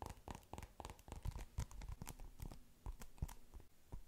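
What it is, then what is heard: Polystyrene bead foam ball. Long pink nails squeeze and scratch a palm-sized polystyrene bead foam ball covered in blue and yellow foam beads. The result is a steady run of quick, dry crackling and crunching bursts with short scratchy clicks. The bursts are close together and stay fairly quiet throughout.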